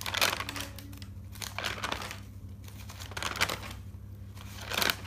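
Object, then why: Thick paper notebook. Fingers flip the pages of a thick paper notebook lying open, turning them from one side to the other. Each turn gives a bright, crinkly paper rustle in separate bursts, with a faint steady low hum underneath.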